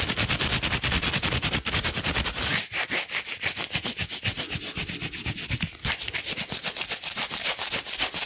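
Long blue rubber gloves worn on both hands are pressed palm to palm and rubbed together quickly. The result is a steady run of bright, swishing rubber strokes, briefly interrupted by short pauses near 2.7 and 5.8 seconds.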